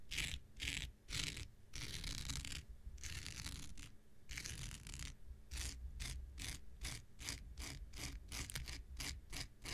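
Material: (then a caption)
Synthetic fiber. An X-Acto knife blade scratches across the fibers of a thin, hand-sized blue non-woven synthetic scouring pad held in the hand, making a rapid, ratchet-like raspy texture. Longer bright scraping sweeps give way to a fast series of short, crisp strokes over a steady low hum.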